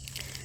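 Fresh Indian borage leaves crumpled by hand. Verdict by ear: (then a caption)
Crisp. A handful of fresh Indian borage leaves is crumpled by hand, giving a crisp, crunchy crackle with bright high-frequency bursts over a low hum. Three sharper crunches stand out, and the sound shows the leaves are very crisp.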